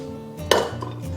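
Battered pork slices, double-fried over medium-low heat and just lifted out, give two sharp, crisp knocks, the first loud and bright and the second softer, over a steady low hum. The crunchy sound shows the coating has hardened into a crisp crust.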